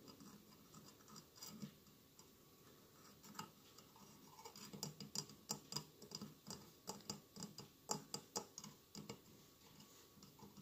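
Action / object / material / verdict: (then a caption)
tap / glass mosaic candle holder / glass / none. Fingertips and nails of both hands tap and scratch the tiled sides of a medium, hollow glass votive holder covered in small glass mosaic tiles, with a lit tealight inside. Soft, bright clicks and faint scratching come at an uneven pace, starting sparse and growing busier, each tap dying out almost at once.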